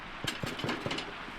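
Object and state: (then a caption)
Hollow-sounding damper, baked through. Four dull, hollow knocks are struck on a campfire damper (bread) that has been baked in a camp oven for 35 minutes, checking whether it is done. The hollow sound shows the loaf is baked through, and once broken open it is judged perfect, if a bit on the doughy side.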